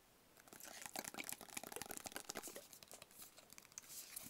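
A small, hollow, rigid black cardboard box is held in the hands and tapped with fingertips and nails. Quiet, rapid, crisp clicks and light crinkly taps come in a dense, irregular patter, bright and dry with almost no low end and no ring after each tap.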